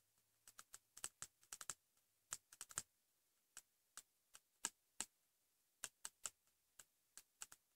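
Fingertips and short nails tap rapidly on the flat, solid cover of a pink patterned hardcover notebook, likely cardboard, lying on a bed cover. About 25 quiet, dry, bright clicks come in an uneven rhythm, some in quick clusters and some spaced apart. Each click dies away almost instantly.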